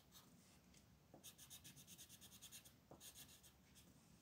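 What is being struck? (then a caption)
Wooden colored pencil on a paper sheet. A light-orange wooden colored pencil rubs back and forth across a flat printed paper coloring sheet on a desk, filling in small areas while the other hand holds the sheet. It makes a quiet, bright, scratchy rasp in quick rhythmic strokes, with two short pauses, over a low soft background hum.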